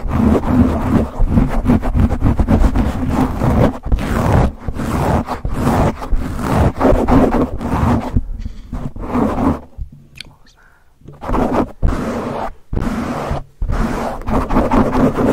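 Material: Foam.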